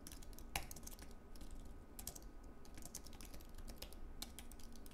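Both hands type fast with their fingertips on a slim white Apple Magic Keyboard, a wireless keyboard with plastic keycaps on an aluminium base. Quick, soft, bright key clicks patter in a continuous run, with a few sharper taps standing out. Beneath them sit a low rumble and a faint steady tone.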